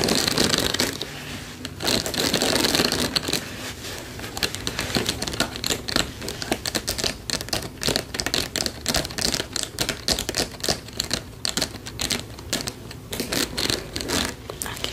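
Long pink acrylic nails scratch and tap a blue fabric acupressure mat with white plastic spike discs while it is rolled up in the hands. The result is a dense, uneven stream of quick, bright plastic clicks and scratchy rustling, with a steadier brushing texture early on that breaks into rapid tapping.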